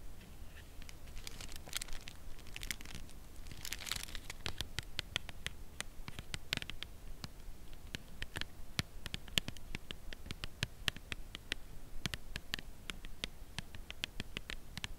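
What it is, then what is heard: Cardboard chocolate bar box, full. Long nails tap steadily on the front of a full cardboard chocolate bar box held at an angle. The taps are short, dry, bright clicks that die away almost instantly, with a few crinkly bursts early on, all over a faint low rumble.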